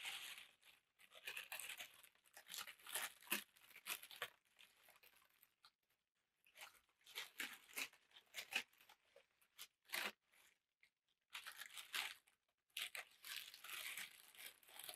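A large sheet of thin black packing tissue paper is held up in both hands and crumpled and crinkled with the fingertips. Bursts of bright, crisp crackling and rustling come in uneven clusters, with short quiet gaps between them and almost no low end.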